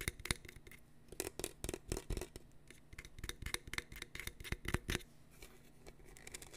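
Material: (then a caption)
Plastic. Fingertips and nails scratch and tap the studded surface of a large, hollow, seemingly empty black plastic tumbler with a lid and a straw, printed "Class of 2022," held in one hand close to the mic. Bursts of quick, dry, bright clicks and scratchy ticks, each dying away almost instantly, sit over a soft low hollow body, separated by brief quiet gaps.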